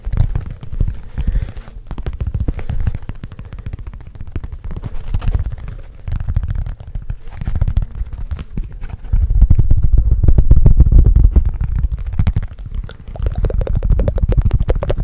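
A flat, solid, hand-span-sized rectangular cork board sheet is held up close to the microphone and tapped and scratched quickly with fingertips and nails. The result is a fast, uneven stream of deep, dull thumps and soft scratching with almost no high end. It swells louder for a stretch in the middle before easing back.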